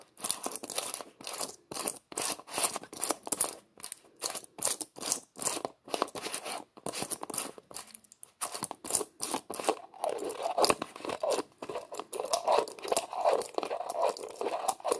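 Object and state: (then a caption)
Plastic jar lid twisted and clicked. Fingertips twist and click the white plastic screw lid of a small, hollow red plastic tub held in both hands. The result is a rapid series of short, dry ratcheting scrapes and clicks with bright edges and no low end. After about ten seconds the twisting becomes a denser, more continuous grinding scrape.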